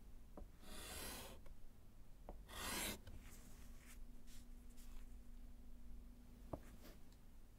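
A gloved hand writes with pink chalk on a small, flat, solid slate blackboard set in a wooden frame. Broad, rasping chalk scratches sweep across the board, mixed with short taps and lighter strokes. A faint, steady low hum runs underneath.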